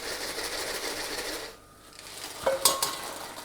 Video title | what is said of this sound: FRITES MAISON (Tous en cuisine avec Seb) | On entend déjà que ça croustille.